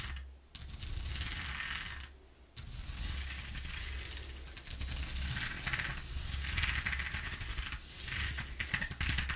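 Long nails drag across the exposed ridges of a flat corrugated cardboard sheet, producing rapid ratchet-like clicking and bright scratchy texture over a steady low rumble. The scraping comes in strokes with brief pauses near the start, then runs fairly continuously, swelling and easing in loudness.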